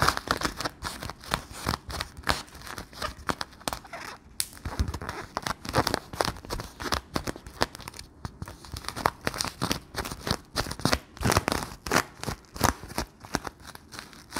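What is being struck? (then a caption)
Thin sticky plastic film bubble. Fingers squeeze and pull the film of a round, clear, hollow, sticky palm-sized Bloonies plastic bubble. Rapid crinkling and sticky peeling crackles run throughout in dense, short bursts with bright edges.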